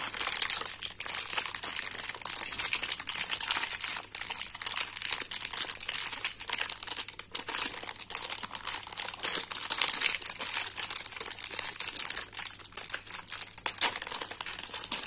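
A thin clear printed plastic wrapper sealed around a green bar of soap is crinkled and peeled by fingertips and painted fingernails. Dense, bright crinkling and crackling runs through the whole clip, with almost no low end, and nothing rings on after each crackle.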